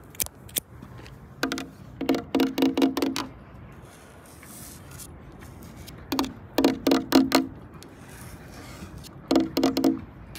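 Long acrylic nails tap and scratch a large, flat, solid sheet of green painted plastic with a red circle on outdoor playground equipment. The sound comes in three bursts of rapid, dry clicking taps with a slight hollow tone around 266 Hz, separated by quieter stretches of soft scraping.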